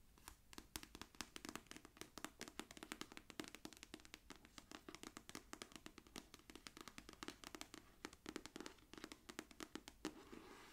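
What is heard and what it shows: Long nails tap rapidly on the spine and back cover of a closed, medium-sized, solid teal paperback novel, "I See You," held in the hand. The result is a quiet, steady stream of quick, dry, bright clicks with almost no ring and a faint hollow body. Near the end the taps briefly give way to a soft hiss.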